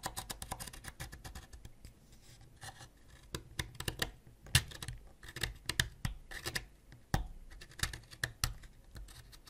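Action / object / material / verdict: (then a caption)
scrape / wax crayon scraped with a ceramic knife / wax / none. A white ceramic knife scrapes a solid purple wax crayon up close, sending wax flakes scattering. Rapid, dry scratching strokes come in bursts, with sharp bright rasps over a soft low rumble. A quieter, slower stretch sits between louder clusters of distinct scrapes.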